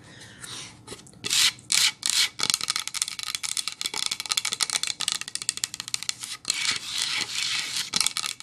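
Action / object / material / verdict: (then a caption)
tap / painted pine plank sign / pine wood / none. Long acrylic nails tap a medium-sized, flat painted pine-wood sign of solid planks decorated with reindeer and snowflakes, first lying flat and then held upright. A few brighter scratchy strokes give way to rapid, irregular bursts of dry, bright clicks that die away almost instantly with no low thump.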